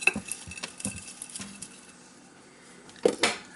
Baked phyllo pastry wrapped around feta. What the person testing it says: I just want to show you how crispy it is. Listen to that.